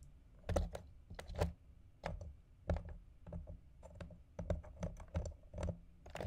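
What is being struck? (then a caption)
Ice balls on ice cubes in a plastic container. Fingertips and nails tap and scratch two round, solid ice balls resting on ice cubes in a clear plastic food container. The result is a quiet, irregular series of soft, dull knocks with short clicky edges and faint scraping between them. Each tap dies away almost at once.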